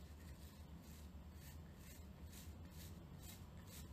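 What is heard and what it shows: Long painted nails scratch and flick across the pin tips of a hand-sized plastic paddle hairbrush with a clear plastic handle and a cushion of many short pins, held in both hands. The result is a quiet, continuous rubbing rasp over a steady low rumble, with recurring bright bursts of scratchy texture.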